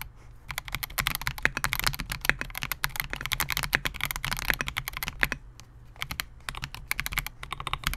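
A compact 68-key Melgeek MOJO68 mechanical keyboard with Gateron G Silver Pro switches, a clear polycarbonate case and SA-profile plastic keycaps rests on a desk mat while the fingertips of both hands type on it continuously. Rapid, sharp, bright keystroke clicks with very short decay rattle over a steady low hum, briefly thinning out around the middle before the fast typing resumes.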